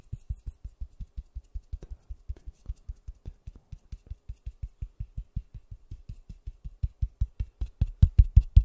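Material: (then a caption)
Styrofoam. A large white styrofoam ball, cupped in white-gloved hands, is tapped and patted with gloved fingertips close to the microphone. About forty short, dull, low thumps follow in a quick, uneven rhythm, each dying away almost at once with faint bright ticks on top. The taps grow noticeably louder over the last couple of seconds.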